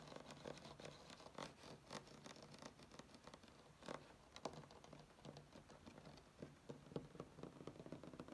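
Short fingernails of both hands scratch and tap across a flat, solid wood-grain tabletop. Soft, dry scratches mix with quick, crisp taps in an uneven patter, over a faint steady low hum. Each tap dies away almost at once.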